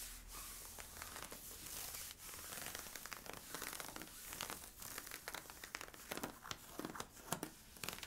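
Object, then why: Stretchy polyester-spandex fabric leggings. Fingertips and nails scratch worn, stretchy camo-print polyester-spandex leggings made of thin, soft fabric at the front waist and hips. The result is a steady, quiet, bright scratching rustle with many quick, sharp scrapes that grow more distinct toward the end.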